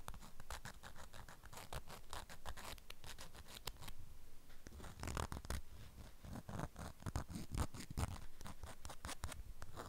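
Long acrylic nails scratch the waxed fabric surface of a strawberry-print beeswax wrap around a flat package. Quick, dry, crinkly scratching strokes come in uneven bursts, with a soft, muffled low body under brief bright edges, and a short pause near the middle.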